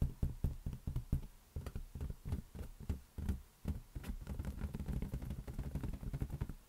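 An inflated rubber balloon is tapped rapidly, giving dull, low thumps like knocks on a taut membrane. The taps come in quick bursts early on, then blur into a near-continuous drumming toward the end.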